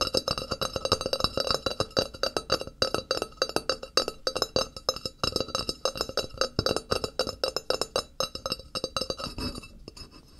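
Fingertips and nails tap and scratch the face and edge of a thin, flat, solid white ceramic wall tile held upright on a table beside a binaural microphone. A dense run of quick, bright clicks rings with a high glassy tone, with faint scratching between them, then tapers off near the end.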